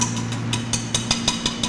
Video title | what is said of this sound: 17 Global SEED: Egg Structure & Calcium Shell Experiment | That doesn't sound like plastic, does it? It sounds like glass.